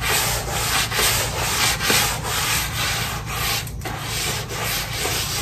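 A long-handled white stiff-bristle floor brush scrubs a soapy, wet ceramic tile floor of large terracotta-colored tiles. The sound is a steady, bright, hissing scrub of bristles rubbing back and forth over the wet surface. Strokes swell and fade about once a second in a loose rhythm.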